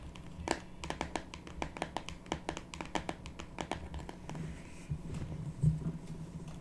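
A small rectangular printed cardboard box of "Earth Magic" oracle cards with a deck inside is held in both hands, then laid flat on a wooden table. Long pink natural nails tap and scratch it, making quick, sharp clicks with a soft scratching rustle under a low steady hum.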